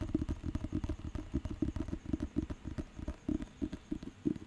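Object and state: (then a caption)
Thick paper dictionary. A thick, solid paper dictionary book is held in the hand while fingertips tap and scratch its cover and top edge. The result is a quick, uneven run of dull, low, muffled taps with a soft scratchy texture between them. Each tap dies away almost instantly, with no bright ring.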